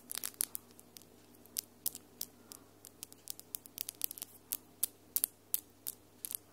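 Long almond acrylic nails with solid glitter polish tap and click against each other between both hands. Quick, sharp, bright clicks come in irregular bursts, some clustered and some spaced apart, over a faint, steady low hum.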